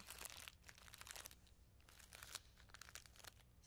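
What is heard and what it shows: A small clear plastic bag of sequins is crinkled and scratched with long nails and fingertips. Quiet, bright crinkling and scratching comes in irregular bursts, with a faint low hum steady underneath.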